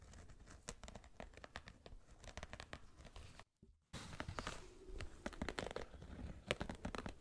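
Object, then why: Suede sneaker. Fingernails scratch along the upper and lace area of an empty black suede sneaker held in one hand. The result is a quiet, dry run of rapid scratchy crackles and rough brushing, briefly cut by a short silence partway through before the scratching resumes.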